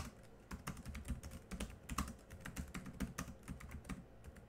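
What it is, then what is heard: Plastic laptop keyboard. Both hands type quickly with their fingertips on a laptop keyboard with black plastic keys. The result is a fast, uneven run of short, quiet clicks and taps, each with a dull low thud beneath a bright, crisp tick that dies away almost instantly.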